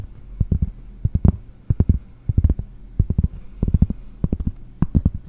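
Fingernails tap and scratch the back of a round pressed-cork board close to the microphone, with one hand reaching over to do it. Dull, muffled thuds fall in irregular clusters, mostly deep and low with a quick, dry decay and little ring. Faint brighter scratchy ticks sit over a steady low hum.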